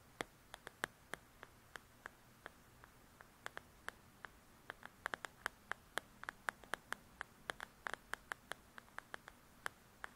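Long nails tap and scratch the glossy paper cover of a "Belles and Blossoms" paperback coloring book. Dozens of quiet, sharp, dry clicks come in an irregular, quickening series, each ending almost instantly with a bright edge. Between the clicks there is only a faint, steady hiss.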